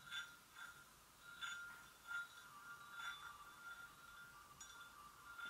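Long acrylic nail tips gently tap the sides of an empty, medium-size, hollow white porcelain gravy boat. Each soft tap gives a clear ringing tone around 1.4 kHz with bright overtones that fades quickly. The taps repeat at an uneven pace over a quiet background.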